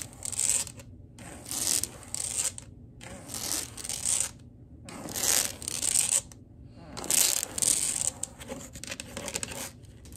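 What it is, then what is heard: Laminate wood floor. Long acrylic nail tips tap and scurry across a wood-look laminate floor, making bright, hissy scratching bursts. The bursts come in uneven waves with short quiet pauses between them and a faint low rumble underneath.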